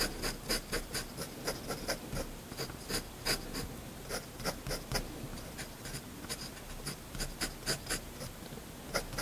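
A steel fountain pen nib draws short hatching strokes on a flat sheet of white drawing paper, scratching the surface repeatedly. Nineteen quick, dry scratches ring out with bright, hissy edges over a soft, quiet background, each one stopping almost at once.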